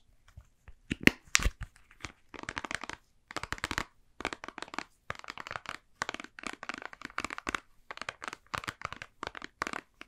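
A mostly empty white and blue soft plastic squeeze tube is bent, crinkled and scratched with fingers and nails. A few sharp cracks come first, then dense bursts of dry, bright crinkling and scratching arrive in quick clusters with short pauses between them.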